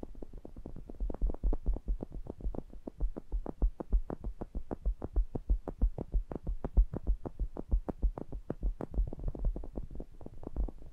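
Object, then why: Metal mesh grille of a small pencil condenser microphone. Fingertips tap and rub the mesh grilles of a pair of small cylindrical metal pencil condenser microphones. The result is a rapid, uneven stream of short, deep, boomy thumps, with almost all the energy in the low end and very little brightness above it.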